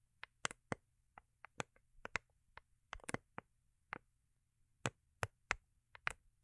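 Long acrylic nails tap the underside of a small, hollow, rigid cardboard gift box covered in holographic foil paper, held in the hands. About eighteen quick, dry, clicky taps come at an uneven pace, each bright and sharp with almost no ring, centered around 2 kHz. The overall level is quiet.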